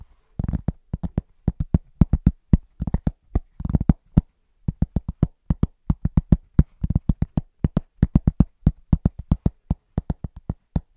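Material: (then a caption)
Cork. Fingertips of both hands tap quickly on a large, round, flat, solid cork trivet. The taps are short, dull, low thuds centered near 160 Hz that stop dead with no ring. They come in an uneven run of single taps and quick rolling bursts, with brief pauses between them.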